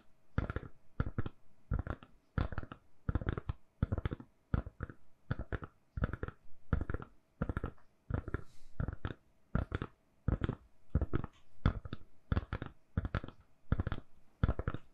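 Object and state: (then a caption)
Silicone phone case. Long nails scratch and tap a hand-sized, solid lilac silicone-covered phone case on a phone in quick, soft bursts with short pauses between. Each burst is a dry, muffled rasp with a low thud and almost no ring, repeating unevenly throughout.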